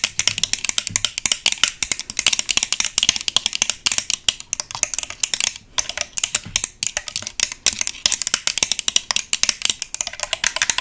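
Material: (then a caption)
Chrome metal. A small round tabletop vanity mirror with a chrome metal stand and round base is held in the hands while the metal base is fast-tapped with paperclip-covered long nails. Rapid, dense, bright metallic clicks follow each other with almost no ring, forming a steady clattering rattle for about 11 seconds with only brief pauses.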